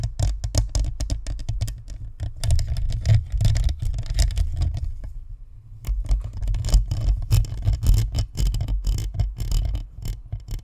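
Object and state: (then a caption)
Plastic and metal-mesh USB microphone being scratched. Long nails scratch the sides and top of a white spherical Blue Snowball USB microphone, a hollow plastic shell with a metal mesh grille, then both hands cup it and scratch. The result is a dense, boomy rumble of rapid scratching strokes, heavy in the low end with faint bright hiss. A brief quieter lull comes midway before the scratching builds again.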